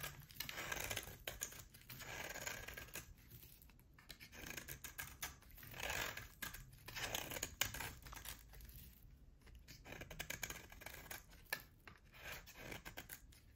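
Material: Soap.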